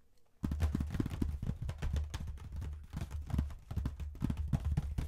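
Fingertips and nails rapidly tap and scratch the lid of a dark, medium-size cardboard box of Bendicks mint chocolates, apparently full. After a brief quiet start, the sound becomes a dense run of soft, dull, low-pitched thumps mixed with faint scratchy texture, with no ringing.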